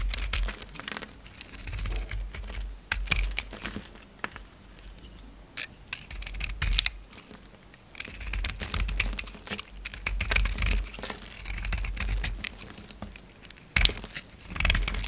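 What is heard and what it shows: A solid oval soap bar with a black speckled outside and white interior, held in the palm, has slices shaved off it with a utility knife blade. Many short, crisp, crackly scrapes and cuts sound in quick uneven bursts, with bright edges and a low background rumble underneath.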